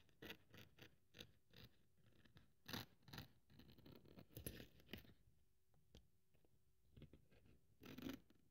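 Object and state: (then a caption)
Thin polyethylene foam sheet being cut. A thin white polyethylene packing foam sheet on a wooden table is held by one hand with long nails while the other hand cuts it into strips and scrapes it with a craft scalpel blade. Quiet, dry scratching and crackling strokes come in short bursts with bright hiss, easing to faint ticks in the middle before a final louder scrape.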